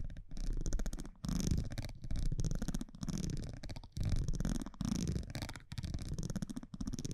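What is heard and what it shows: A metal tweezer-like tool scratches and taps along the face and top edge of a thin cardboard baseball trading card held in the hand. The sound is a dense, crackly, low-heavy scraping with a faint bright fizz, coming in uneven bursts separated by brief near-silent pauses.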